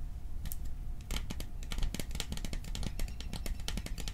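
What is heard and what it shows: Fingertips rapidly tap the sides of a hollow, cylindrical printed metal popcorn tin held in both hands close to the microphone. The result is a quick, uneven stream of short, dry ticks with bright clicky tops that die away almost at once, over a low steady hum.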